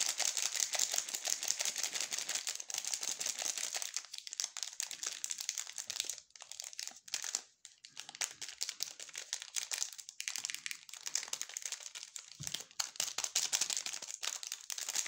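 Gloved fingertips hold and crinkle and rub the cream-coloured plastic wrapper of a sealed, full waffle bar. A dense, bright crackling rustle runs almost continuously, with brief quieter pauses around the middle.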